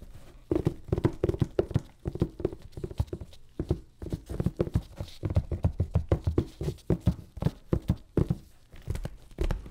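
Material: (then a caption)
Cardboard. Gloved fingertips tap and scratch the top of a medium, closed, hollow corrugated cardboard box sealed with clear packing tape and lying on a table. A rapid, uneven series of dull, hollow thumps with a boxy tone around 375 Hz, mostly low in weight, dies away almost instantly. Soft scraping fills the gaps between taps.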